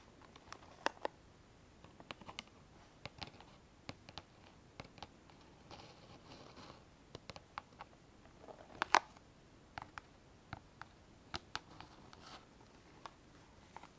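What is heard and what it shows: Long metallic-painted nails tap and scratch the front and edges of a small square kraft cardboard gift box printed with a picture of a bead necklace, probably holding the necklace inside. Quiet, dry, bright clicks sound in an irregular string with almost no ring, broken by a few soft scratchy rubs, with one louder tap near the end.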